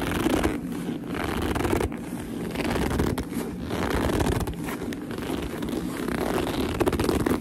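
Long nails rub and grip a black leather purse along its seam, making the leather squeak. A steady run of close, dense squeaking and rubbing fills the clip at an even level, with brief scratchy bursts and little ring between strokes.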